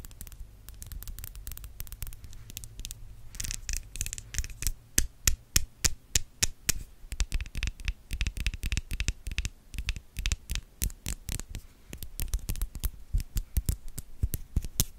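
Long yellow nails tap and scratch the top and sides of a white studio microphone's hollow metal mesh grille. Quick, irregular, dry taps with short bright clicks mix with scratchy rasping, over a low hum that is strongest in the first few seconds.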